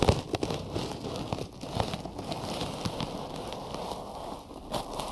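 Fingertips tap and scratch white cotton gauze bandage wrapped over the ears of a binaural microphone. The result is a close, continuous crackling rustle of fabric, heavy in the low end, broken by soft dull taps and a few sharper bright scratches.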